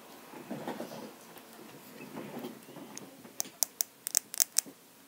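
A lip balm container is tapped. Soft, low rustling handling noise fills the first three seconds, then a quick series of sharp, bright, dry clicks with almost no ring.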